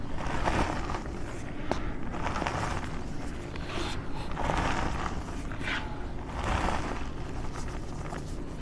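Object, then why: Loose gym chalk powder being squeezed by hand. Bare hands dig into a large bin filled with loose pink gym chalk powder, squeezing and crumbling handfuls. The result is a steady, soft, low crunching and rustling, swelling in gentle bursts as the powder is pressed and falls apart.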